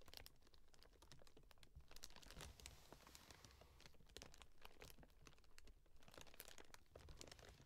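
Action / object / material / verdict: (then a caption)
scrape / corrugated cardboard box / cardboard / none. Long nails tap and scratch the taped, labelled top of a closed, hollow corrugated cardboard shipping box with a paper label and orange tape. A steady stream of quick, bright, crinkly clicks and rasping scrapes runs throughout over a soft, low hollow rumble.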